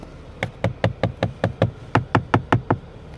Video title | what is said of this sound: 2016 Equus Tech and Luxury Review. | it sounds plasticky and not like the good plastic